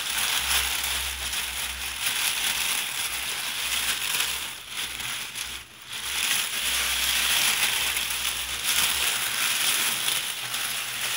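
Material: Nothing is struck.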